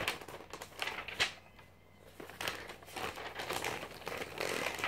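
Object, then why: Glossy paper magazine. A thin glossy paper magazine of a few hundred pages is held in one hand while fingertips flick and turn its pages. The paper gives bright, crisp rustles and crinkles as it riffles, with a brief quiet pause in the middle before denser rustling resumes.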